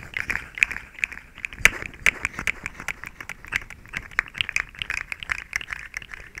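A small, hollow, rainbow-colored plastic slinky coil toy is held in front of the microphone and stretched, compressed and rattled with fingertips and long nails. It makes a quick, irregular run of short, dry plastic clicks and rattles, bright and centered around 2 kHz, with almost no low end and no ringing after each tap.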